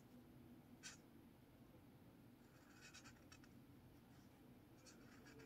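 A blue marker tip is drawn across a lined paper spiral notepad resting on a table, making continuous scratching strokes. Short, bright, scratchy bursts stand out over a quiet, steady low hum, with a sharp squeak near the start and clusters of strokes in the middle and at the end.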